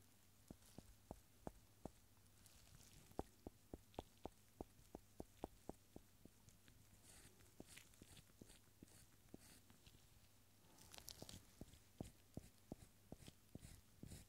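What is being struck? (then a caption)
Cork stopper. A solid round cork stopper held in gloved fingers is tapped with the eraser end of a yellow pencil, giving about 27 quiet, dull, short taps in a steady rhythm with almost no ring. A low steady hum sits underneath, and faint bright rustling rises near the end.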